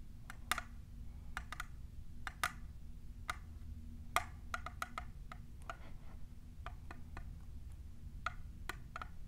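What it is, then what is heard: Plastic tumbler cup. A tall, hollow, clear printed plastic tumbler is tapped by long nails fitted with plastic clips. The taps are quick, sharp, and woody-sounding with a short ring, arriving in an uneven rhythm over a low, steady background hum.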